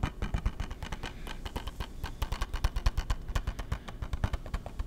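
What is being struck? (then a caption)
Hard plastic game case. A hollow, hard plastic PS3 game case is held flat and tapped and scratched with fingertips. A rapid, steady stream of short, dry taps with low, hollow thumps comes through, with faint scratchy clicks between them and almost no ring after each tap.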